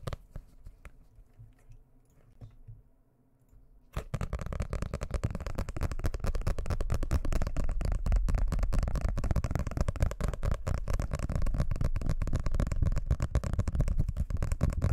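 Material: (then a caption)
Paper. A medium-sized blue hardcover paper book, closed and solid, is held up close to the microphone and tapped and scratched quickly with fingertips and nails. After about four seconds of faint, quiet handling, a dense, fast stream of muffled, low, thumpy taps and scratches begins. It continues at a steady loudness to the end.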